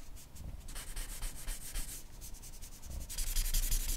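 A charcoal pencil draws fine, quick scratching strokes on a flat white sheet of drawing paper near the lips of a portrait, making a steady dry rubbing and scraping with a bright hiss on each stroke. The strokes repeat in a loose rhythm and grow louder and brighter in the final second.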